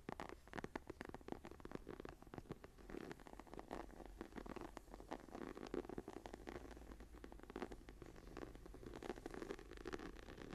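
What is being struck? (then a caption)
Leather journal cover. Long nails scratch and tap across the closed brown leather cover of a journal embossed with a tree pattern, lying on a table. Quiet, dense, dry scratching mixes with many quick, short taps, with a soft low-mid body and little brightness.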